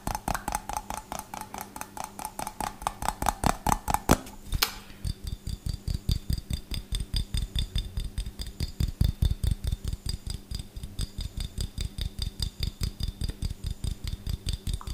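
A small, empty, clear glass jar with a gold metal lid is tapped and scratched quickly with fingertips and short nails on both the glass and the lid, close to the mic. The result is a rapid, uneven stream of short, dry taps with heavy low thumps and faint bright clicks. A brief bright scratching burst comes just past the four-second mark.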